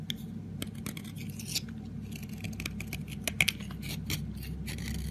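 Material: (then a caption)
Soap. A small solid green soap bar held on the palm is scraped and carved with a metal blade, shaving thin flakes off its edge. Short, crisp scratching strokes with a bright, dry texture sit over a low steady hum, with a few sharper clicks standing out.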